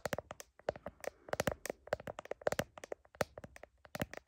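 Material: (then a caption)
Plastic. Long nails tap rapidly on the back of a phone in a blue heart-patterned plastic case, near the camera, while the phone is held up to a mirror. The result is a fast, irregular run of sharp, dry clicks with a hollow plastic tone around 580 Hz and almost no ring after each tap.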